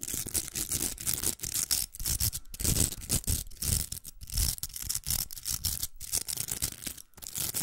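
Long nails scratch the velcro surface of a large, hollow, pink plastic velcro hair roller. The result is a steady run of quick, bristly rasps, bright and hissy on top with a soft, hollow low thump underneath, broken by brief pauses between strokes.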